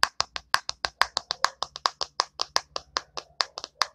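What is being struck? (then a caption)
Plastic hairbrush. Long nails tap the hollow plastic back of an orange plastic hairbrush and flick its white plastic bristles, making 23 quick, dry clicks in a steady run. Each click is short and crisp, with a hollow plastic knock near 1 kHz and a bright, high tick on top, and almost no ring.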